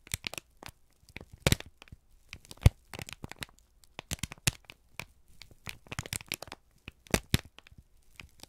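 A single thin, crumpled sheet of brown kraft paper is held in both hands and squeezed and crinkled with the fingertips and thumbs. Dense bursts of sharp, dry crackles and crinkles follow one another with short quiet gaps, each broadband snap reaching bright highs over a low rumble. A few louder cracks stand out.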